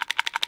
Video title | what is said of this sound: Esittelyssä Fiskars rakentajan puukko | muuten on kyllä lonksu ja heilu, mutta ei lähde